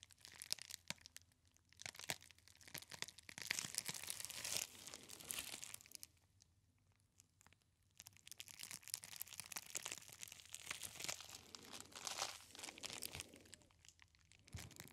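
A clear plastic bubble wrap roll with hollow bubbles is held close to the ear and squeezed and rubbed with the fingers. It makes dense, bright crinkling and crackling in bursts, with a quieter pause in the middle before the crinkling picks up again.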